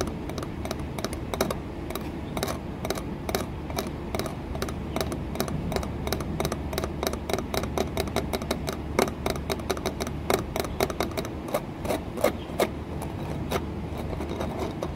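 Long nails tap and scratch an embossed, green textured glass window pane set in a wooden frame. A rapid, steady stream of short, dry clicks with bright edges rides over a low, constant hum and soft scraping. Each tap dies away almost instantly, with a faint glassy tone around 700 Hz.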